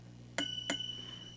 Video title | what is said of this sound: Tube preamp budget kit test and review | you hear that ring ... little zing sound